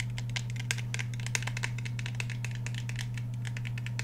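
Fingernails tap quickly on the surfaces of a black Glock 17 pistol with a polymer frame and a steel slide as it is turned in the hands. The result is a rapid, uneven stream of sharp, bright clicks and light rattling over a steady low hum.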